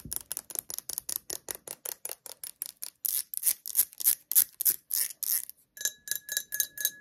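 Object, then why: Small ribbed glass jar. Long acrylic nails tap and scratch the ribbed sides and bottom of a small, hollow, nearly empty ribbed clear glass jar held in the hands. About thirty quick, bright, clicky taps come in a loose rhythm, with scratchy hissing ones in the middle. The final taps give off a short, clear glassy ring.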